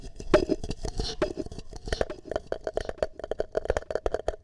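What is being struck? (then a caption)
Plastic cup. Fingertips and nails tap and scratch the outside of a single empty, hollow green plastic party cup with a shamrock print, cupped over a microphone's ear. Quick, irregular hollow taps with a boxy resonance around 600 Hz mix with brief scratchy rasps. The taps speed up into a dense patter toward the end.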